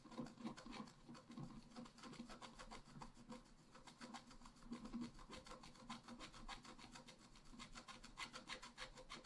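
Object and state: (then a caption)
Scratch-art card being scraped. A pointed wooden stylus scratches across a flat, black-coated scratch-art card, about A5 in size, lying on a table and held by one hand. Quick, irregular, dry scratching strokes follow one another at roughly three per second. They make a soft, bright rasping texture with a faint low body, and each stroke stops almost instantly.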